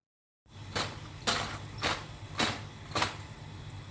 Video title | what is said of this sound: Pakora Recipe- Pakora banane ka Tarika- Aloo Pakoda Recipe- #Trending | here you can hear the crispy sound of the pakoras.